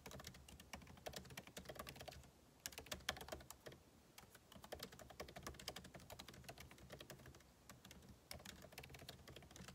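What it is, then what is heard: Laptop keyboard being typed on. Fingertips type rapidly on the plastic keycaps of a backlit MacBook Pro keyboard set in an aluminum body, producing a dense stream of short, bright clicks with a low thud beneath them. The tapping eases briefly around two seconds, then picks up again with a few sharper, louder strikes.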